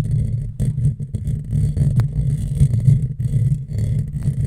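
Long fingernails of both hands scratch a hollow, black metal mesh microphone grille. The result is a dense, continuous low rumbling scrape with a muffled, boomy tone and rapid rubbing strokes that swell and dip in loudness.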